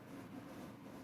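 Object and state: Nothing is struck.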